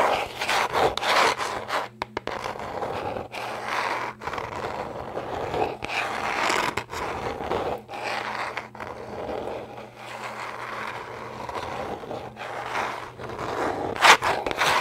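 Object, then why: Corrugated cardboard box. Long nails scratch and scrape a small, flat, brown corrugated cardboard shipping box with a label while it is held in both hands. Dry, rasping bursts of scraping come in quick runs, some faster and some slower, with short pauses between them and a faint steady low hum underneath. The strokes are brief and stop dead, and a sharper, brighter scratch stands out near the end.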